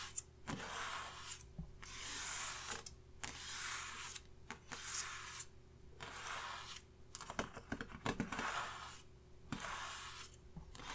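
Fingertips tap and scratch across a flat paper makeup face chart clipped to a clipboard resting on a red surface. Soft, bright scratching swells come and go in repeated strokes, with sharp little taps scattered between them over a faint steady low hum. The overall sound is quiet and close.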